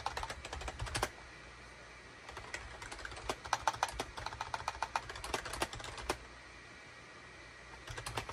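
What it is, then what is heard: Plastic computer keyboard. A full-size wired USB SHIPADOO K600 keyboard with a gray plastic case, cream, gray and orange plastic keycaps and a hollow body sits on a desk mat and is typed on rapidly with the fingertips of both hands. Bursts of sharp, bright plastic key clicks with a hollow midrange clack come in quick flurries, broken by two quiet pauses of steady low hum.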